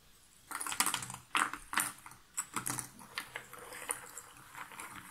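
A hand stirs and scratches a pile of cardboard jigsaw puzzle pieces in a box lid with its fingertips. After a brief quiet start, dry, bright rustles and crisp clicking bursts come through, with very little low end and no ringing.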